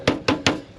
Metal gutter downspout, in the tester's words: You can tell that it sounds hollow.